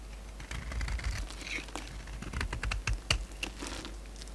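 A palm-sized, oval solid bar of soap with a dark red glitter coating over a white core is held in the hand and shaved and scraped with a utility knife blade. The result is a quick, uneven run of dry scratching, crinkly scrapes and sharp clicking ticks, with a bright edge over a steady low rumble underneath.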